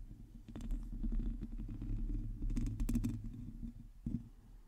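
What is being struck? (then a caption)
Metal mesh microphone grille. Long teal acrylic nails on both hands scratch the hollow metal mesh head of a large black microphone. The result is a close, muffled, rumbling scratching with uneven bursts of brighter, crackly scraping. Quieter soft rubbing fills the gaps between them.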